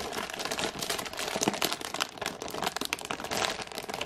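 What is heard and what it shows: A full IKEA ginger thins package, wrapped in printed plastic film with a clear window showing the biscuits, is held in both hands and scratched and tapped with long painted nails. The result is a steady stream of dense, bright plastic crinkles with quick, sharp taps mixed in and almost no low end.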